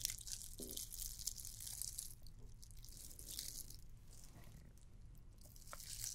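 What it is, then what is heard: Glitter plastic candy cane ornament. A red and white glittered plastic candy cane ornament is scratched with long nails. The result is a quiet, dense, bright scratchy crackle that runs continuously, with a steady low rumble underneath and a few brief sharper ticks.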